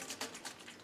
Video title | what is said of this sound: Yeti Complete Build Part 1: Wheels, Cassette, Tires, Rotors | you can hear it sloshing around